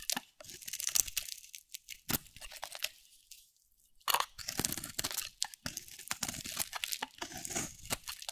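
A metal utility blade shaves curls from a solid, dry, round cream soap bar with a teal rim held in the hand. The result is a run of bright, crunchy scraping and crackling strokes, with a brief quiet pause near the middle before the scraping resumes.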